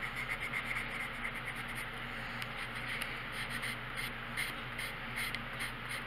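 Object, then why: Colored pencil on a paper coloring book page. The tip of a dark colored pencil scratches small strokes across a thin paper page of a coloring book lying flat on a wooden table, while the other hand steadies the page. A quiet, steady, bright scratchy hiss carries brief repeated stroke accents throughout, over a faint low steady hum.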